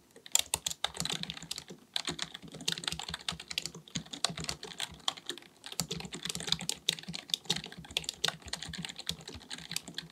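Fingertips of both hands type rapidly on a black full-size plastic computer keyboard resting on a desk. The result is a dense stream of bright, crisp key taps that stop dead with no ring, broken by brief pauses.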